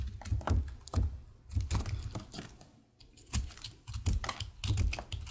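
A utility knife blade shaves and scrapes the surface of a solid, pale green, star-shaped soap bar held in the hand. The result is a quick run of soft, dry scraping strokes, each with a dull low thump and a short crisp hiss, broken by a brief quieter pause near the middle.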